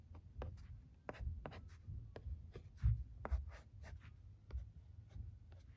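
A stylus held in the fingers scratches across the screen of a flat plastic LCD writing tablet while writing letters. It makes a run of short, dry, bright scratchy strokes with brief pauses between them, over a quiet low rumble.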